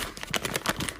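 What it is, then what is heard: Half-sized rice paper, poor quality (tears crisply). A sheet of half-sized xuan rice paper is torn by hand, giving a crisp, brittle crackle of about eight quick, bright snaps with no ring after each. The crisp tear marks it as poor-quality paper, since good raw xuan paper tears softly with cotton-like fibres.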